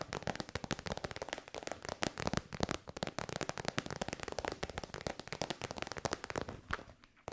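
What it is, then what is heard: Faux-leather pouch tapped with nails. A hollow, soft-sided pouch of shiny pink metallic faux leather is held upright and tapped quickly with long white nails. The result is a fast, steady run of crisp, dry taps with a crackling texture that stop almost instantly, with no ring between hits.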